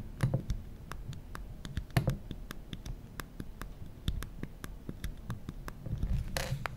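Fingertips tap the aluminum side of a small, solid glass-and-aluminum smartphone, the original iPhone, then tap and rub across its glass screen. The quiet, dry clicks and taps are short and crisp with very little ring. A brief brushing rub near the end adds a bright, breathy swish.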